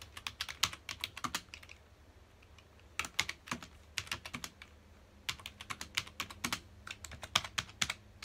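Fingertips of both hands rapidly press the keys of a full-size black plastic computer keyboard resting on a dark desk. Dozens of bright, crisp plastic taps come in quick bursts, each dying away almost instantly. The bursts are separated by short pauses.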